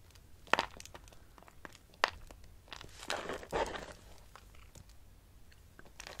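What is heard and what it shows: Dry soap shavings are squeezed into a clump and crushed, then pressed with fingers. Sharp, crisp crunches and bright crinkling crackles stand out against a quiet background, with a longer grinding crumble in the middle and short, dry snaps that die away instantly.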